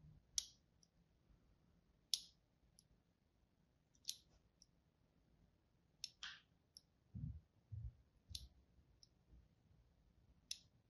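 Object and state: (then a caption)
Bar of soap being scored. The tip of a thin blade tool scores lines into the surface of a palm-sized, solid rectangular bar of green-and-white striped soap held in one hand. Eight short, bright, crisp scratching clicks sound at roughly regular intervals, some joined by soft low thumps. Each one cuts off almost instantly against a quiet background.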